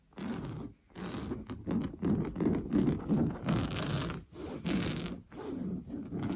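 Blue-painted fingernails scratch fast and hard across the orange coarse-weave fabric of a stuffed sofa cushion. The result is a run of rough, raspy scraping bursts, mostly low and midrange, separated by brief pauses.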